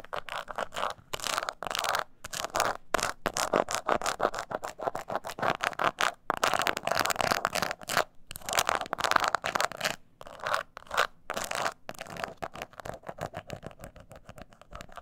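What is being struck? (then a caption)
Small croc-textured leather purse. Long nails scratch the top and side of a small, hollow croc-embossed leather mini purse held on its side. The result is dense, rapid bursts of dry, rasping scratches broken by brief pauses, centered in the midrange with little low end. The scratching grows softer and thinner toward the end.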